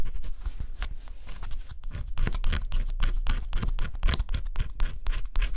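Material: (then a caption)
Cardboard. A stylus scratches the coating off a flat cardboard scratch-off jigsaw puzzle, making a quick, uneven run of dry, gritty scrapes. The strokes are close-up and broadband, with a steady low rumble beneath them and bright, brief rasping bursts on top.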